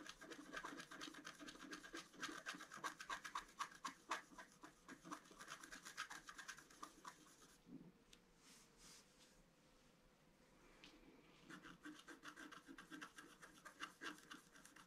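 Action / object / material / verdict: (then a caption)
scrape / scratch-art card with wooden stylus / coated paper / none. A pointed wooden stylus scratches a flat A4-size scratch-art card, black coating over a colored foil layer, lying on a table. Quick, dry rasping strokes repeat about four times a second with a bright, papery edge, then ease into a quieter stretch of lighter scraping near the middle. The steady scratching picks back up toward the end.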